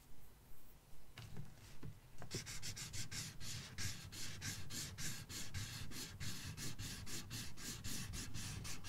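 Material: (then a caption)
Paper. The felt tip of a red marker, held in the fingertips, colors a thin paper page of an open coloring book resting on a box. After a few slower, scattered strokes, it settles into fast back-and-forth scratching with a steady, bright papery hiss. A low rumble sits underneath.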